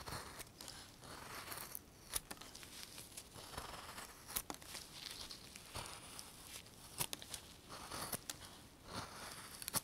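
A fist-sized solid basswood (linden) block, held in a gloved hand, is whittled into a fishing lure with a steel carving knife. Shavings are cut off in a run of quiet, dry scraping and slicing strokes, with short, sharp, bright crackling snaps among them and almost no ring after each cut.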